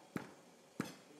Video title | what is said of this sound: Resep Ketan Bubuk Kedele Arek Jawa Timur - Dapur Nenek Tini #48 | Kalau belum matang dia lengket kayak kita masak kue itu. Enggak bunyinya plek-plek gitu. Enggak ada bunyinya. Kalau ini buk-buk.